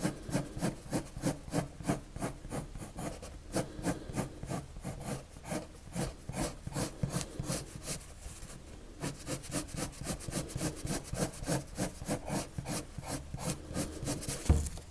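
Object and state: Colored pencil strokes on paper.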